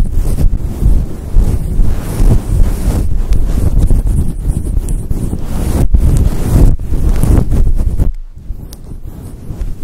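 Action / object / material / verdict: scrape / synthetic fur microphone windscreen / synthetic fur / none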